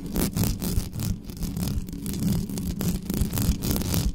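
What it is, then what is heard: Metal microphone grille scratched. Long nails rapidly scratch the uncovered metal mesh grille of a black studio microphone. The result is a dense, fast, irregular scratching with a heavy low rumble and faint bright rasping on top.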